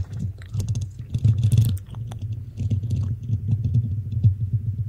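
Long nails on both hands scratch and tap the hollow black metal mesh grille of a desktop microphone. The result is a dense run of rapid scratchy taps with a deep, boomy low thump under each stroke and bright crackly hiss above. The loudness swells and dips throughout.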